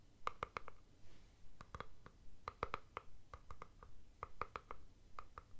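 A palm-sized rigid plastic Speed Stick deodorant tube, held upright, is scratched and tapped on its side with fingertips. Quiet, irregular clusters of short, dry clicks ring with a hollow tone around 1.2 kHz, over a faint low hum.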